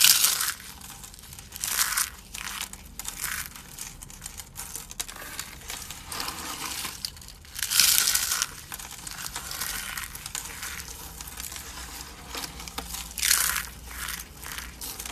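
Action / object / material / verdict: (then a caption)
scrape / soap curls / soap / none. A handful of thin, rolled, dry pink soap curls is crushed and crumbled between thumb and fingertips over a wooden table, breaking into flakes and powder. The sound is a steady, bright, dry crackling and crunching, with louder bursts of crunch at the start and around 2, 8 and 13 seconds, and almost no low end.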